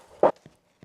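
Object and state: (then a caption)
Soda bread loaf, baked through (hollow underside). A single tap on the underside of an Irish brown soda bread loaf gives a short, hollow-sounding knock, followed by two much fainter knocks. The hollow sound shows the bread is baked through.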